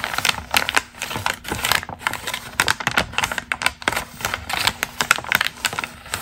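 A single thin, glossy magazine page printed with a red and white portrait is crinkled, flexed and crumpled by hands with long green nails. The result is a dense run of sharp, dry crackles and crisp rustles, bright and high with almost no low end, each snap dying away instantly.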